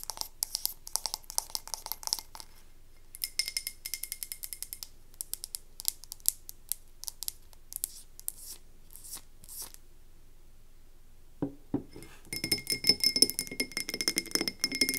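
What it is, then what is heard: Frosted glass candle jar. A medium frosted glass candle jar with a white-to-navy ombre and a paper label, filled with wax, is held in the hands and tapped and scratched on its sides with long nails. Quick, bright, dry clicks and taps come in irregular bursts, with short scratchy rasps. After a brief quiet gap there is a soft low bump, then dense, rapid tapping and scratching to the end.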